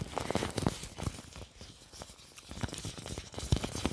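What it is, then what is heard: Plastic apron being crinkled. Fingertips pinch, crumple and rub a large, thin, clear plastic apron, producing continuous crinkling with sharp, crackly bursts. The rustling dips quieter in the middle before picking up again toward the end.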